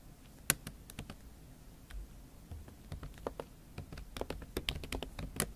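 Fingertips and long acrylic nails type on a MacBook Pro keyboard covered with a thin pink silicone/plastic skin. Soft, muffled clicks with short, bright nail ticks sound in an irregular run, each tap dying away almost at once. The sound is quiet and low-heavy, and the strokes are close together throughout.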